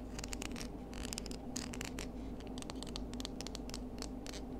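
Long nails scratch and pick at the bumpy surface of a small pinkish, spiny or knobbly seashell held low near a table. The result is a quick, irregular run of dry, bright scratching clicks over a steady low hum.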